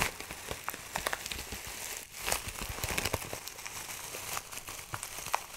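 A clear plastic zip bag, partly full of dry herbs, is crinkled and squeezed with fingertips. It makes a steady, dense run of bright, crisp crackles and rustles, with a brief lull around two seconds followed by a louder burst of crinkling.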